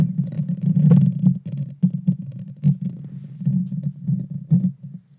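Long dark fingernails scratch the hollow metal mesh grille of a Blue Yeti Nano microphone from the top and sides. The result is a deep, muffled rumbling scrape centered around 140 Hz, with almost no high end. It swells and fades in uneven bursts of rustling friction with a few sharper crackles.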